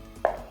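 Two sharp taps on a ceramic floor tile that is not properly glued to the floor give a hollow, pitched knock around 600 Hz with a short ring, marking it as debonded. The loose tile is to be fixed by drilling holes and filling them with grout.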